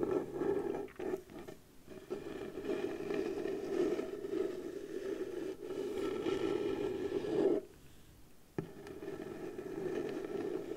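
Long blue nails slowly scratch the flat surface of a round piece of pale wood, likely the lid of a round light wooden box. A steady, dry scraping rasp with a warm midrange tone runs almost continuously, with brief dips near the start and middle and a quieter pause of about a second before the scratching resumes.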